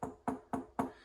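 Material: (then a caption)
Metal panel. Four short, dull knocks on the sound-deadened rear tub panel of a 1995 Land Rover NAS Defender 90, where it runs up into the wheel well behind the seat box. Each knock is a muted thud that dies away quickly with little ring, showing the sound deadening material installed there.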